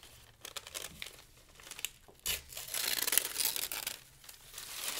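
A pile of torn, thin pale-green paper strips is crumpled and torn further by the fingers of both hands. Dry, bright crinkles and crackles come in quick, uneven bursts, with a sharp tearing rip partway through followed by a longer, denser stretch of rustling before it settles back to softer crinkling.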